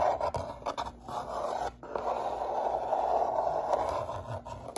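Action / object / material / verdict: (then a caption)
scrape / corrugated cardboard box / cardboard / none. Fingertips and nails scratch the inner bottom and walls of an open, empty brown corrugated shipping box with its flaps up. The hollow box gives a steady, dry, rasping scrape centered in the midrange, with short bursts and a brief pause near the two-second mark before the scratching continues.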